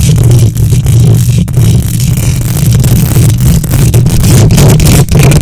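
Long nails on both hands scratch the hollow metal mesh grille of a silver condenser microphone. The result is a loud, continuous, rumbling scrape, heavy in the low end around 105 Hz with faint high hiss on top, dipping only briefly between strokes.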